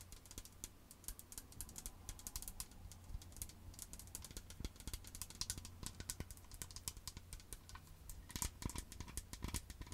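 A medium green plastic toner bottle with a white cap, partly filled with liquid, is tapped with long acrylic nails on its front and base. The rapid, light, clicky taps are bright and die away almost instantly, over a steady low hum throughout.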